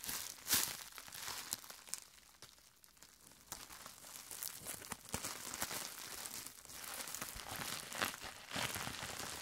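A larger sheet of clear plastic bubble wrap is bunched in both hands, then crinkled and squeezed with the fingertips, popping the air bubbles. Bright, dry crinkling runs throughout, broken by sharp snapping pops, with a louder pop near the start and a quieter stretch around the second to third second.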